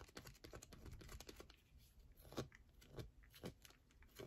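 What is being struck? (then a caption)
Solid bar of soap. Long nails scratch and tap a solid yellow bar of soap held in the hand. A fast run of dry clicks and scratches comes first, then settles into softer, quieter scraping. A few sharper, louder ticks break through near the end.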